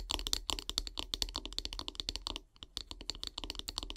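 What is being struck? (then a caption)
Wooden handle of a bristle brush. Long grey nails tap quickly along the solid wooden handle of a bristle brush. The result is a rapid, dry run of bright, clicky taps that stop almost instantly, with a brief lull about halfway through before the tapping picks up again.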